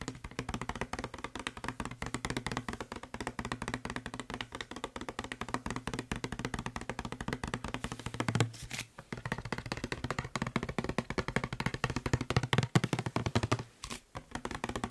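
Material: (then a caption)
Plastic. Fingertips and nails rapidly tap and lightly scratch the label and body of a hollow blue plastic spray bottle. The result is a dense, continuous stream of dry, short clicks and taps over a low hollow hum, with brief quiet gaps around 9 and 14 seconds.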